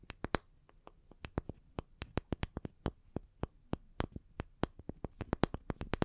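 Long nails tap the cut faces of two small, solid round wooden log slices, first resting on the palms and then held upright. The result is a quiet, uneven run of sharp, dry, clicky taps that stop almost instantly, each with a bright edge over a soft low thud.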